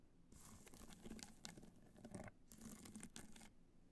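Long nails scratch and tap the top of a hollow black hard-shell clutch covered in multicolor rhinestones, resting on white fur. Soft, dense, crackly scratching with bright, gritty bursts and light taps comes in two stretches, with a brief pause between them and a quieter tail at the end.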